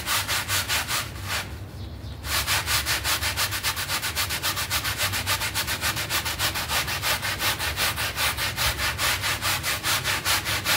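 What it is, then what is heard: Synthetic pile rug being scrubbed. A small, wet, foamy synthetic pile rug is scrubbed with a red hand brush, making fast, rhythmic bright rasping strokes. A brief pause interrupts the scrubbing near the two-second mark before the steady back-and-forth resumes.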